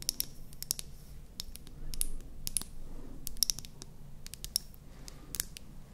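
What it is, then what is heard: Plastic mascara tube. A small, light-green, hollow plastic mascara tube is held in both hands and tapped and scratched with long painted nails. Quick, sharp, bright clicks and ticks sound in an uneven series, with soft scratching swells between them over a low background rumble.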